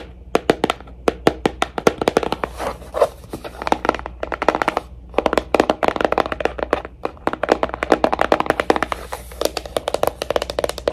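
A Pandora jewelry box is tapped quickly and lightly with fingertips in rapid, uneven bursts, producing crisp, dry clicks with a midrange tone and almost no ring. Short pauses break up the flurries, and a faint low hum runs steadily underneath.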